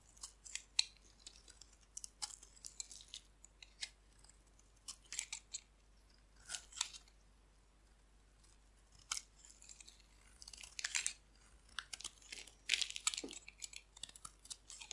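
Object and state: Dry bar soap being cut.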